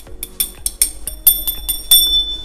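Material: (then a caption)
Metal. A metal spool removed from a Battle X AX Carbo spinning reel is knocked eight times, giving short, clear, high-pitched metallic rings. The bright, ringing tone confirms the spool is metal.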